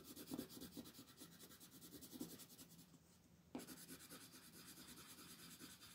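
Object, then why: Paper sheet rubbed by a colored pencil. A colored pencil, held in a hand with long painted nails, rubs and scratches coloring strokes across a flat white paper sheet printed with a mandala, lying on a table while the other hand holds it still. Soft, dry scratching repeats in quick rhythmic strokes with a bright, papery hiss, pauses briefly near the middle, then resumes with a sharper scrape and continues steadily.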